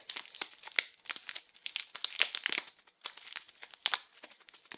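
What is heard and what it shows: A small blue printed package wrapped in plastic film is squeezed and crinkled with fingers and nails. The result is a dense run of sharp, bright crackles and crinkles with no low end, each snapping off almost instantly.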